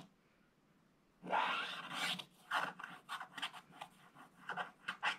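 A wooden stylus scratches along the bottom edge of a picture on a flat, black-coated scratch-art paper page in a scratch book, while the other hand rests flat on the left page. After about a second of quiet, a long, dry, raspy scratch is followed by a run of short, bright scratching strokes with little low end.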